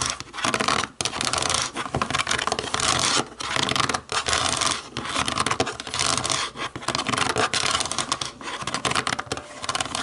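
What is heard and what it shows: Long nails tap and scratch across the buttons of a black plastic TV remote. The result is a dense run of bright, crisp scratching and quick clicky taps with almost no low end, broken by a few brief pauses.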